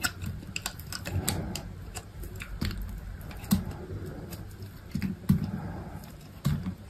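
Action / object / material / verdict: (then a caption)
scrape / bar of soap cut with a blade / soap / none. A utility knife blade slices thin strips off a small remaining piece of solid white soap. The result is a steady series of soft, crisp cutting clicks and scrapes with a dull, low body and very short decay, with a few louder, sharper slices standing out.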